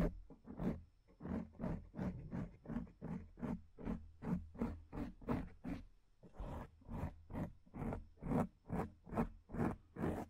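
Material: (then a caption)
Foam. Long acrylic nails scratch the top of a black foam microphone windscreen in a steady back-and-forth rhythm. About twenty rough, scraping strokes come at roughly two and a half per second, each a brief rasp with a heavy low rumble, a bright hissy edge, and almost no ring after.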